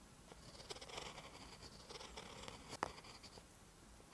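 A ballpoint pen tip writes on a lined paper notebook page, making quiet scratching strokes. Soft, bright scrapes and light taps continue throughout, with one sharper click near the end.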